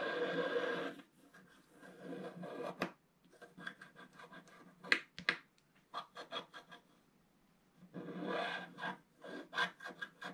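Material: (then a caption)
Coated paper. A wooden stylus scratches near the right edge of a flat scratch-art paper page with a black coating over gold foil, while the other hand holds the page. Longer dry, rasping scrapes open and close the clip, with a run of short, quick, bright scratching strokes and brief pauses in between.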